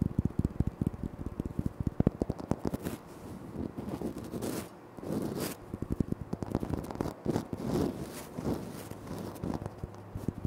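Fingertips tap and short nails scratch across a flat, solid, speckled granite floor tile. Quick, dry taps with almost no ring come in dense bursts, broken by softer, steady scratching stretches in the middle of the clip. The sound is weighted toward the low end.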